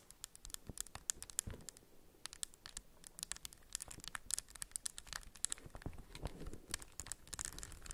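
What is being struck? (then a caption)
Plastic puzzle cube with raised stickers. Long acrylic nails tap and scratch the raised white and orange textured tiles of a hand-sized solid plastic 3x3 puzzle cube, held in both hands above a beeswax wrap. A rapid stream of sharp, dry, bright clicks mixes with scratchy rustling, each tap stopping almost instantly with no ring.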